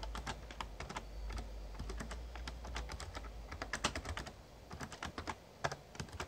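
Fingertips type on the keys of a full-size, backlit plastic Razer Ornata Chroma mechamembrane gaming keyboard. The result is a steady run of quick, short, bright key taps over a low, constant hum. The typing thins out into sparser, sharper strokes toward the end.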